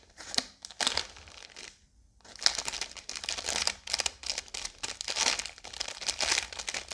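A full Oreo biscuit roll in a blue plastic wrapper is held in one hand while long yellow nails tap, scratch and squeeze the film. Bright, crisp crinkling and crackling bursts fill the clip, pausing briefly near the two-second mark before continuing steadily.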